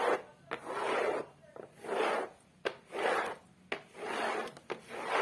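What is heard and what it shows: Long acrylic nails scratch and rub back and forth across the rough surface of a flat, solid, beige cork-textured board on the back of a photo frame. Each stroke makes a dry, papery rasp centred in the midrange, with about one stroke per second. Short, sharp nail clicks come between the strokes.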